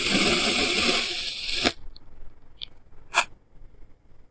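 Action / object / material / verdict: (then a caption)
scrape / kinetic sand block cut with a plastic knife / kinetic sand / none. A clear plastic knife held by the fingers cuts and scrapes thin slices off a solid, rounded block of green kinetic sand on a white surface, and the slices crumble into a pile. A steady, bright, gritty hiss runs for about a second and a half, then stops with a sharp click. Quiet follows, broken only by a few faint, crisp ticks.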